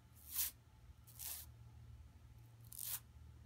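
Long nails scratch across a flat, empty yellow woven plastic mesh tote bag lying on carpet. Three separate bright, airy scraping strokes swell and fade over a steady low hum, with quiet gaps between them.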